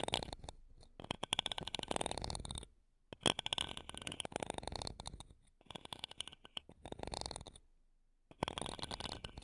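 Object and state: Metal microphone grille, scratched and tapped.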